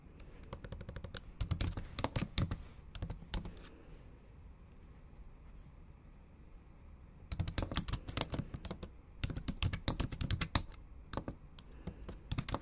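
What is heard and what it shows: Long acrylic nail tips and fingertips tap the backlit black plastic keys of a MacBook Pro in a silver aluminium body in a typing motion. The result is bursts of quick, sharp clicks with bright edges and almost no ring, over a low steady hum. After about three and a half seconds of typing there is a pause of several seconds, then the clicking resumes in uneven runs to the end.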